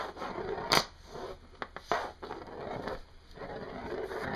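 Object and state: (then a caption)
Hematite sizzle magnets clicking together. A matched pair of small, solid dark grey oval hematite sizzle magnets from one toy is held in the fingertips over a wooden desk, pressed together, pulled apart and knocked against each other. Sharp, bright clicks stand out against a soft, continuous sizzling and scraping hiss.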